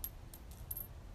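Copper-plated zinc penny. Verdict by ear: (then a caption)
Dull. A US penny is dropped on the floor during dog retrieve training, making a few brief, faint clicks as it lands and settles over a low background rumble. The coin sounds dull and plastic-like rather than metallic.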